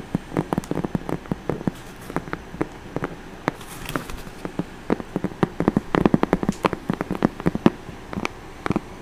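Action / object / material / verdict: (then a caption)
tap / corrugated cardboard box / cardboard / none. Long orange nails scratch and tap the face of a hollow brown corrugated cardboard box with some tape on it. Rapid, uneven bursts of short, dry, dull taps mix with a soft scratching rustle underneath. Each tap dies away almost instantly, with little brightness.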